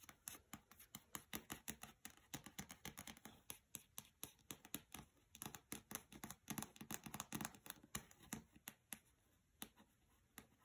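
Long fingernails tap and scratch the cover of a paperback copy of *Mistborn* lying on carpet. A rapid, uneven series of crisp, bright clicks with very little ring, and soft scratching in between. The tapping thins out and grows quieter near the end.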